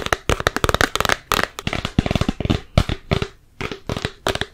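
A large, full plastic Peter Pan peanut butter jar with a yellow plastic lid is held in the hands and tapped with long nails and fingertips on its body and lid. It makes a rapid, uneven flurry of short, dry plastic clicks and hollow taps that die away almost instantly, coming in quick bursts with a brief pause near the end.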